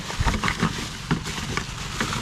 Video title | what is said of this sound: These people get a D-minus on accurate tub labeling | sounds like plastic to me